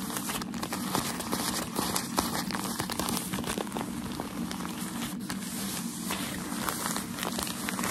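Folded, crinkled white tissue-like packaging paper from a shoe box is held in the hands and scratched and rubbed with fingertips and nails. A steady, dense crinkling and crackling runs throughout, with quick, bright scratchy bursts over a low, soft rustle.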